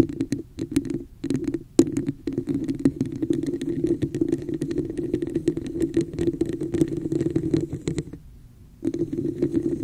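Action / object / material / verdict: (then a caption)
scrape / textured plastic cup / plastic / none. Long nails tap and scratch the embossed, textured surface of a hollow red plastic cup held over the mic. The result is a dense, steady run of quick clicks and scrapes with a hollow, boxy resonance around 330 Hz and faint bright ticks. The sound drops to near silence for about half a second just after the 8-second mark, then resumes.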